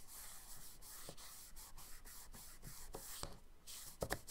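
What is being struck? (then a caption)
Charcoal stick on kraft paper sketchbook page. A charcoal stick held in the fingertips is rubbed and stroked across a page of a spiral-bound brown kraft paper sketchbook lying flat on a dark wooden table, and the fingers smudge the marks. Quiet, bright, scratchy strokes repeat in a steady rhythm, then pause briefly. A few sharper, louder scrapes close the clip.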